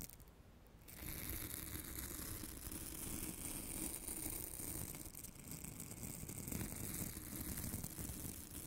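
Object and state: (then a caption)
Glitter-coated foam carrot being scratched. A decorative craft carrot about 20 cm long, made of foam coated in orange glitter with green paper leaves, is held in one hand beside the microphone while long manicured nails scratch its gritty surface. After a quiet first second, a steady, dense scratching and crackling texture runs to the end, full in the lows with a faint high hiss.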